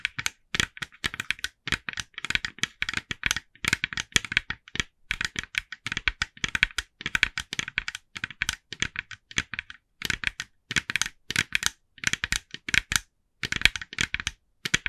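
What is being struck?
Hollow plastic jack-o'-lantern figure.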